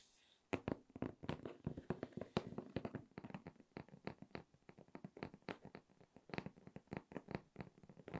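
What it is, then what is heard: Cardboard shipping box. Long red nails tap and scratch the top of a closed, hollow, medium corrugated cardboard shipping box. The result is a quick, irregular run of dry, dull taps with almost no ring, mixed with scratchy brushing, and centered low around 200 Hz.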